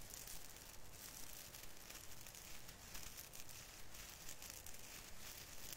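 Fingers rub and squeeze the plastic needles on the branches of a small artificial fir Christmas tree. The result is a steady, crinkly rustling with a bright, hissy top and a soft low rumble underneath. It swells and fades in quick, uneven pulses throughout.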